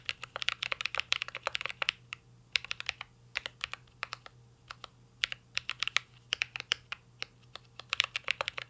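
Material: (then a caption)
Plastic. Two hands type steadily with their fingertips on a full-size mint-green Cyberboard R3 mechanical keyboard with a metal case, plastic keycaps and Holy Panda switches, resting on a desk. Dozens of crisp, bright keystroke clacks come in quick bursts separated by short pauses, each one dying away almost instantly over a faint, steady low hum.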